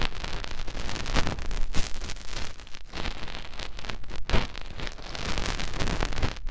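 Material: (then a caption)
Silicone. Fingertips rub and wiggle inside the opening of a soft white silicone ear on a round binaural microphone, making close contact friction on the silicone. A continuous, muffled scratching and rustling plays, heavy in low rumble, with brief louder swells of brighter friction as the fingers shift.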